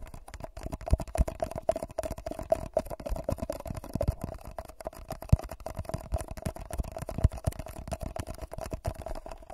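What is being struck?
Foil-covered paper cup.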